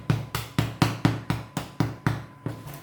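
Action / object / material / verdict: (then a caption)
tap / bread loaf bottom / bread / hollow. A long artisan bread loaf, turned upside down after about 40 minutes in the oven, is tapped on its bottom in a steady series of about ten quick knocks. Each tap is a low, hollow, drum-like thud that fades quickly, with little high-end. The hollow sound shows the loaf is baked through.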